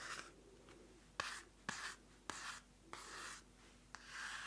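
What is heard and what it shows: A small pink card-covered paper notebook, held in one hand, is scratched and rubbed on its cover with long nails and fingertips. Quiet, dry, bright scratching strokes come in short bursts, each opening with a sharp click, and soft hissy rubbing fills the gaps between them.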